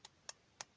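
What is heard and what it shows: Three quick, bright taps on the hollow plastic torso of a ToyBiz Marvel Legends Spider-Man action figure, each a short dry tick with almost no ring. The clicks sound light and hollow, unlike the solid shoulder piece and head.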